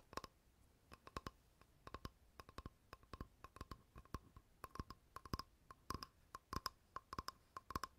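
A flat, rectangular, light wooden board, solid, is held in the hand and tapped with fingertips and nails on its face and edge. The result is quiet, dry, rapid clicking taps in irregular bursts, each dying away almost at once, with a faint tonal ring near 1 kHz and a low thump underneath.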